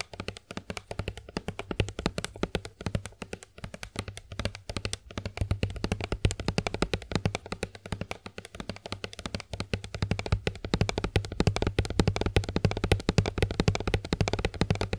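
Long acrylic nails tap rapidly and continuously on a Johnson's plastic body milk (lotion) bottle held in both hands. The clicks are short, dry and closely spaced over a steady low hum, and they grow a little louder and denser in the second half.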